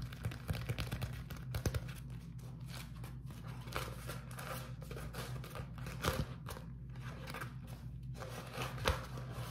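A thin, flexible beeswax-coated cotton food wrap sheet with a honeycomb print is held in both hands and crumpled and rubbed by fingertips. The result is a steady run of crinkly, sticky rustles with occasional sharper crackles over a constant low hum.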